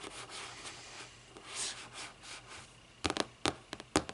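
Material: Cardboard.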